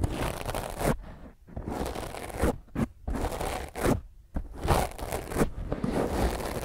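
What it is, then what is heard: Foam microphone windscreen being scratched. Long fingernails scratch hard across a soft, porous black foam microphone windscreen. Dense, rough scratching and crunching rustles come in uneven bursts separated by brief near-silent pauses, with a heavy low-end thump and noise reaching up into the highs.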